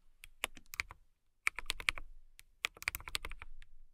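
Typing on a compact transparent acrylic mechanical keyboard with clear plastic keycaps and a clear case, struck with long nails and fingertips. Bright, crisp clicks and clacks come in three quick bursts with short pauses between. Each keystroke is dry and stops almost instantly.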